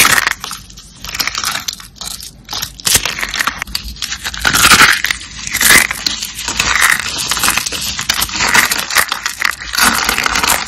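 Small purple and green glittery dry soap rolls, solid and brittle, are crushed between fingers into flakes. The result is a steady run of dry, bright crunching and crackling, with sharper snaps standing out along the way.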